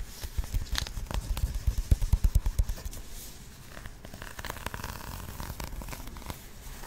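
Fingertips and long nails scratch a flat, patterned, paper-covered cardboard box held close to the microphone. Quick, uneven scratchy strokes with dull, low thumps come thick in the first three seconds. They give way to a softer, steadier rasping with brief crackles.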